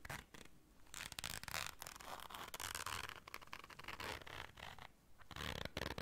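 Long dark nails scrape across a small round black fabric zipper case held in the hands and work its zipper. Bursts of bright, dry, rasping scratches and zipping come in quick uneven runs, with a few brief quieter pauses between them.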